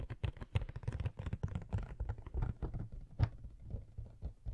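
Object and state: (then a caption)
Cardboard collectible box, hollow. Long fingernails tap rapidly on the printed cardboard back of a hollow Coca-Cola Funko Pop box. The result is a quick, quiet run of short, dull, hollow thuds with a low body and no ring.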